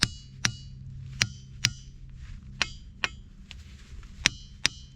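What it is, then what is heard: Dull, poorly ringing diabase boulder. A hammer repeatedly strikes a diabase boulder next to the one struck before, producing short, bright clinks that stop almost immediately. This boulder rings poorly compared with the previous one, giving a dull, non-ringing tone.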